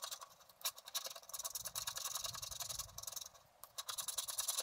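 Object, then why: Wax-coated scratch-art paper scraped with a wooden stylus. A wooden stylus scratches the upper area of a flat scratch-art sheet of black wax-coated paper while the other hand steadies the sheet. Quiet, dry, bright scraping strokes rasp in quick succession, almost entirely high-pitched with no low body. The scratching dips briefly near the end before resuming.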